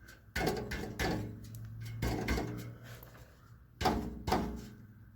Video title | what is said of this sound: Checking out the exhaust on a 2012 Chevy Cruze | there's a baffle inside it's breaking loose it's broken loose on this end but not farther up